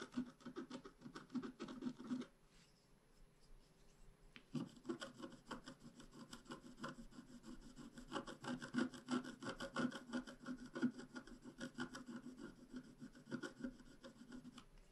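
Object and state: Scratch art paper sheet.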